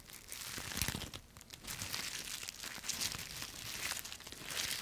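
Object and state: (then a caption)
Dry leaves crushed by hand. A cluster of thin, brittle, dry yellow-green autumn leaves on a twig is crushed and twisted between fists and fingertips. Dense, bright crackling and crunching is heard, with crumpling and tearing sounds swelling and easing in waves throughout.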